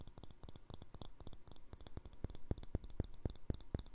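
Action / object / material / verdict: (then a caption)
tap / small glass jar with plastic lid / glass / none. Fingernails tap fast on the glass wall of a small, empty, hollow clear glass jar with a green plastic lid. The result is a quick, uneven run of short, dry clicks, each with a soft low knock and a bright tick that stops almost at once. The taps grow a little stronger toward the end.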